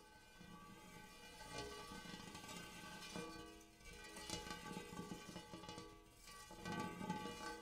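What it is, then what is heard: Hammered metal bowl. Fingertips and nails tap repeatedly on the dimpled inner surface of a large, shallow, empty gold hammered metal bowl. The light taps set off a shimmering metallic ring, with layered overtones centred around 855 Hz that hang and overlap between strikes.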